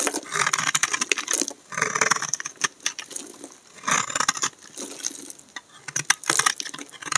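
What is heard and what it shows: A solid, dry, peach-colored bar of soap is held in the hand and scraped with a black utility knife blade, sending curly shavings off the bar. The scraping comes in quick, dry, crackly bursts with bright, high-frequency hiss and almost no low end, the strokes clustering and pausing as the blade works across the bar.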